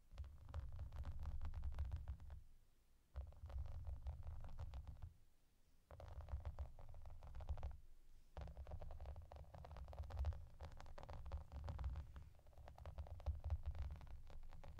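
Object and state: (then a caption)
Plastic bubble bath mat. Long painted nails scratch and tap along the edges and surface of a clear, soft plastic bath mat with raised hollow bubbles lying flat on a table. The result is dense, rapid, irregular tapping and crackling with a deep, muffled low-end thump, coming in bursts separated by brief quieter pauses.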